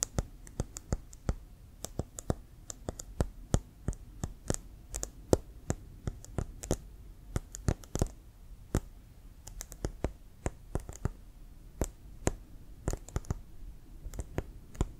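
Fingertips and nails tap and click on a brown leather American football, hollow and inflated and held sideways. Dozens of short, dry, irregular clicks sound over about fifteen seconds, each with a bright snap and a soft low thump from the hollow ball, dying away almost instantly against a quiet background.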